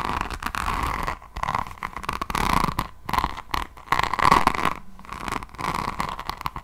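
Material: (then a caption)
Resin. A beaded resin rhinestone diamond painting notebook cover is scratched with long nails, then held at an angle. Dense, raspy scratching and crunchy clicking come in uneven bursts with short pauses, carrying a steady midrange tone around 1 kHz.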